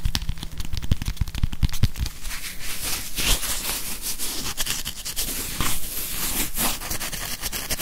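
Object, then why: Plastic whiteboard eraser with felt pad. Fingers tap and scratch a grey plastic whiteboard eraser with a felt pad and a barcode label on its plastic back, held in both hands close in front of the mic. Rapid, dense taps with deep, thumpy low end blend into a continuous bright, crackly scratching texture that runs throughout.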